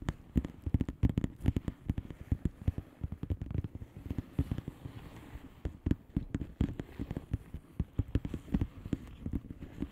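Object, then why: Plastic bubble wrap envelope. Long painted nails on both hands tap quickly on a flat blue plastic bubble wrap envelope with air-filled bubbles. The result is a dense, steady stream of soft, dull, low taps that die away almost instantly, with a faint crinkly texture and no ringing.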